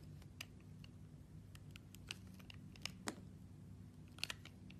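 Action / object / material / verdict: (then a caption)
scrape / glycerin soap bar cut with a metal blade / glycerin soap / none. A metal blade slices and shaves thin sheets off a purple, translucent, heart-shaped solid glycerin soap held in the hand. Short, crisp, bright clicks and snaps ring out at scattered moments and stop almost instantly. A steady low hum runs underneath throughout.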